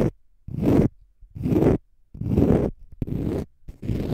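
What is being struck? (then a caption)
Konjac fiber facial sponge. A palm-sized, pale green konjac fiber facial sponge, solid and porous, is scratched with fingernails in six separate bursts, the first cut short. Each scratch is a rough, low, rumbling rasp with heavy bass and very little brightness, separated by near-silent pauses.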